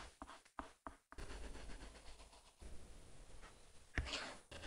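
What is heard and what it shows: A plastic stylus tip, held in the fingers, is dragged across an iPad glass screen covered with a paper-like matte plastic film in drawing and coloring strokes. A few short scratchy strokes are followed by a long, quiet, continuous scratch and rub, with a sharper tick near the end. The sound is soft and dry, mostly low in tone with a light bright hiss.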